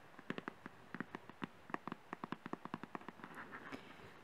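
A small, thin printed cardboard retail box for a Zoom H1 recorder is held in both hands and tapped quickly with fingernails. About twenty short, dry, hollow taps land in an uneven rhythm, each dying almost instantly. They fade at the end into a softer, blurred run of lighter taps and faint rustle.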